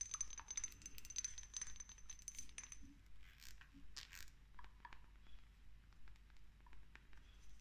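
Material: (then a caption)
Glass. Long nails tap and scratch quickly on a small dark amber glass dropper bottle with a green paper label, held in the hand. Bright, high glassy clicks and clinks come in fast, uneven bursts over soft scratching, with short ringing that dies away almost at once.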